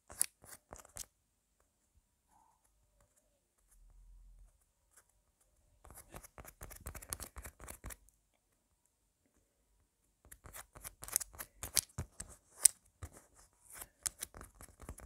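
A palm-sized, solid red foam squishy tomato toy with green leaves is tapped and scratched with long black nails. Bursts of quick, dry, crackly clicks and scrapes with bright high-end texture come in three clusters, separated by near-silent gaps and a brief low rumble.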